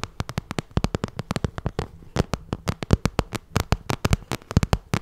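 Long red nails tap rapidly on the glossy surface of a small, hollow pink vinyl cosmetic pouch, making a quick run of about 34 sharp, dry clicks. Each tap carries a dull, hollow low thump under a brief bright tick, then dies away almost at once.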